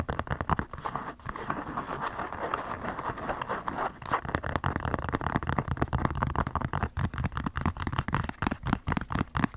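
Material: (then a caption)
Foam resin. Long black nails scratch and tap across the upper of a single white Crocs clog made of molded foam resin with ventilation holes. The result is a dense, dry run of crinkly, crunchy scratching broken by quick, sharp taps that stop dead. The sound is weighted toward the low end with almost no bright top.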